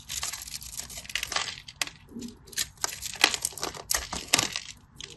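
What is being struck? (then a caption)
Bar of soap. A hand-held, solid cream-coloured bar of soap with a pressed pattern is scored and carved with a metal blade, and crumbly pieces break off. Irregular bright, dry crunches and scrapes come in quick bursts with very short decay, and little low-end body.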